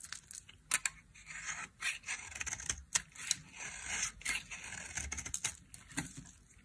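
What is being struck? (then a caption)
Bar of soap. A flat metal blade scrapes along the face of a solid, dry white soap bar lying in an open palm. It makes bright, crackly scraping strokes with sharp flaking clicks and almost no low end.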